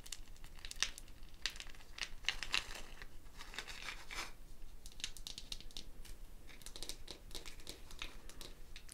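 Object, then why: Dried gourd shaker with wooden bead net. Long fingernails scratch and rub the wooden beads netted around a hollow dried gourd shaker held by its handle. The result is a steady, close crackling texture of bright, dry clicks and rustles with frequent sharper ticks, and almost no ring after each one.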